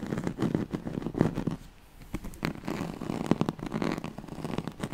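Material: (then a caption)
Woven straw. Long nails scratch the ribbed surface of a yellow striped woven oval pad made of straw-like fabric. A dense run of dry, raspy scratches and crackles comes in uneven bursts, with a brief quieter lull near the middle before the scratching picks up again.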